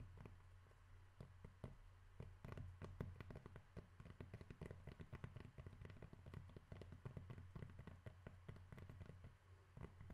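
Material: Cork.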